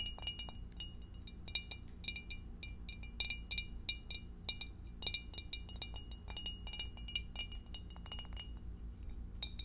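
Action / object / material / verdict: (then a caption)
tap / glass divided food container / glass / none. Long acrylic nails tap rapidly on the rim, base and divider of a clear, empty, hollow rectangular glass food container that is held and tilted in both hands. Many short, bright glassy clinks with very brief ringing sound over a steady low hum.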